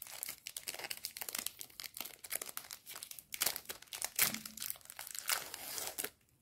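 A small pink plastic-film candy bar wrapper is held in both hands with fingertips and painted nails, crinkled and rubbed, then torn open, with a pile of other sweets nearby. Dense, bright crackling and crinkling fill the clip, with louder sharp bursts of tearing near the middle. It fades to near silence at the end.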